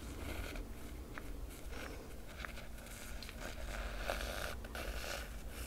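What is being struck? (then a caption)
Cloth-covered hardcover book with foil emblem. A fingernail traces long, slow strokes along the foil dragon emblem on the black cloth cover of a large hardcover book. The result is a soft, continuous dry rasping with faint brighter scratchy edges over a low background rumble.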